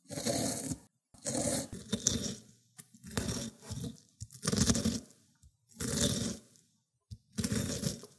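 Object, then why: Cucumber on a ceramic grater plate. A cucumber is grated on a small round white ceramic grater dish, producing wet pulp. Repeated rough, crunchy scraping strokes come in bursts separated by short pauses, with a bright, hissy top over a low, gritty rasp.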